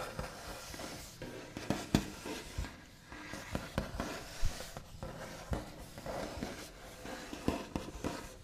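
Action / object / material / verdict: tap / wooden table top / wood / none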